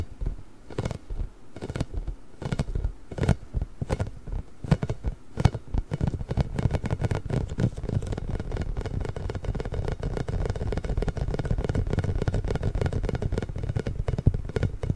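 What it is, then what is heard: Rubber spiky massage ball. Fingertips and nails rub and tap a large pink, inflated, hollow rubber massage ball covered in small spikes. The first few seconds bring separate soft, dull, low taps. These then build into a dense, steady patter of scratching and rubbing that stays deep and muffled, with almost nothing bright.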